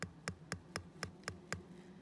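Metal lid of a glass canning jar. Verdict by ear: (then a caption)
Sealed. The cooled, inward-drawn metal lid of a glass canning jar is tapped seven times at an even pace, giving short, plain ticking taps with a brief bright ring rather than a hollow sound. This shows the jar has sealed properly.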